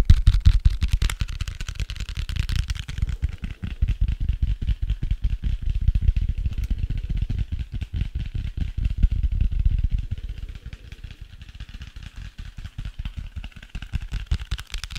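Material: Cardboard.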